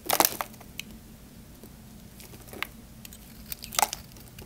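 A small knife blade scrapes and carves dry flakes off a solid, hand-sized, cream-white Camay soap bar held in one hand. Short, dry, bright crinkling scrapes come in clusters, loudest at the start and again near the end, with quiet pauses between them.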